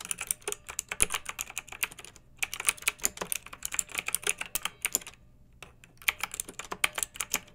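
Fingertips with long nails type continuously on a pink backlit plastic mechanical keyboard with round keycaps. Rapid, bright, short clicks and clacks come in bursts, with brief pauses around two and five seconds. Each keystroke is crisp and dies away almost instantly, with little low-end weight.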